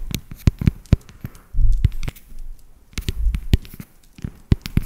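Long nails tap and scratch along the ridges of a solid, segmented dark chocolate bar, making a quick series of dry, sharp clicks with dull, low thuds beneath them. Short stretches of rougher scratching sit between the taps, and every hit stops dead with no ring.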